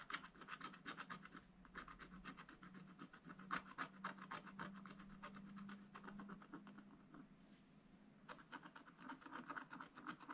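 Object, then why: Wax-coated scratch-art paper scraped with a wooden stylus. A wooden stylus scratches and rubs the black coating on a scratch-art paper page in a spiral book, working near the drawn tree and sun. Quick, dry, rasping strokes repeat at roughly four per second in an uneven rhythm, with a bright scraping edge and a faint low hum underneath through the middle. The strokes ease off briefly near the end before resuming.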